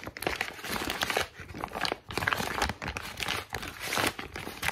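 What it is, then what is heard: Crumpled notebook paper. A heavily wrinkled sheet of thin, white, lined notebook paper with a spiral-torn edge is scrunched and crinkled between both hands, worked by fingertips with long pink nails. Dense, bright crackling and crinkling comes in several sustained bursts separated by brief lulls.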